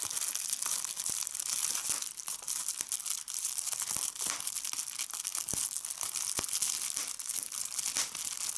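Fingertips with red nails pinch and pop individual air bubbles on a clear plastic bubble wrap sheet held up over a table. The result is a steady, bright crinkling hiss broken by sharp, quick pops that die away fast, with almost no low end.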